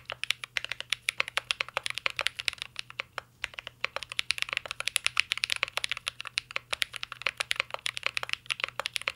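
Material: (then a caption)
Plastic. A mint-green Cyberboard R3 mechanical keyboard with plastic keycaps and a metal case is typed on continuously with the fingertips. The result is a steady stream of short, sharp, bright key clicks centered around 2.6 kHz, with almost no low end and no ringing after each tap.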